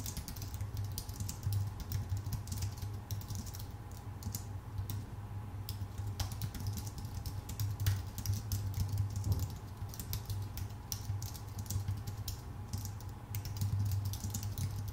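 Both hands type with their fingertips on a full-size white Apple Magic Keyboard, which has plastic keycaps on a thin aluminum body. The result is a steady, dense stream of short, crisp key clicks with bright taps, over a constant low hum.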